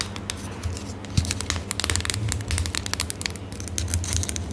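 Long manicured nails and fingertips scratch, rub and crinkle the surface of a small, partly squeezed Kytta-Salbe ointment tube of metal or plastic laminate, with a printed white label and a blue cap end, held close in both hands. Dense, crisp, bright crackles and taps come in quick bursts over a steady low hum, with one sharper click early on.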